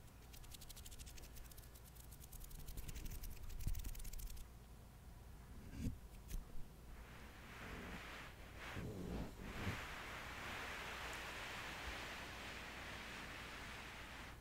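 A flat gray and white plush shower rug with a soft, carpet-like pile, lying on a surface, is rubbed and scratched with the fingertips and short nails of both hands while the palms slide across the pile. For the first few seconds it gives a quick, bright, scratchy rustling with fine ticking. It then turns into slower, softer, breathy swishing as the hands sweep over the fabric, over a steady low hum.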